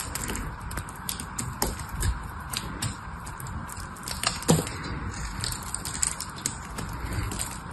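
A small metal blade carves into a solid blue bar of soap held in the hand, cracking off chips. Quick, crisp cracks and scraping ticks come in a steady irregular run over a soft, low background rumble, each snap dying away almost at once.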